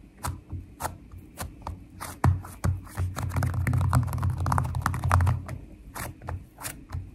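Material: Slime.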